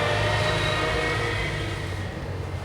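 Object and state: Nothing is struck.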